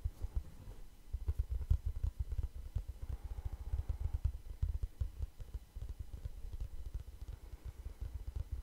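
A small, flat, light and hollow kraft cardboard notebook with a string tie is held in both hands around the microphone and scratched and tapped with the fingertips. The result is a steady stream of soft, deep, muffled thumps and rustles, almost all low in pitch with no bright edge, each tap dying away almost instantly.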